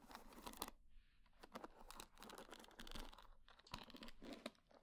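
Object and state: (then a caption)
Wooden hair brush. Long dark-painted nails scratch and run across the wooden pins of a small wooden paddle hair brush with a solid wood body. The result is quiet, dry, crackly rasping broken by quick bright clicks and ticks. Short bursts of scraping alternate with brief near-silent gaps.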